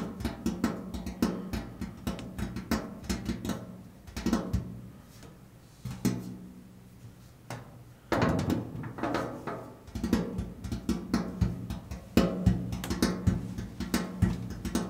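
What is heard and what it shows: Fingertips tap quickly on a large, flat, painted steel washing machine lid while the palm rests on it. The result is dull, low, drum-like knocks with a short ring and a faint hum near 184 Hz. The taps come in rapid bursts separated by quieter pauses around the 5- and 7-second marks.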